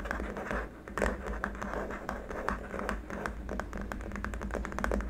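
Fingertips and short nails of both hands tap quickly across a long, flat, solid white hard-plastic keyboard wrist rest, making rapid, dry, clicky taps with some scratching. The taps are short and barely ring, over a steady low hum.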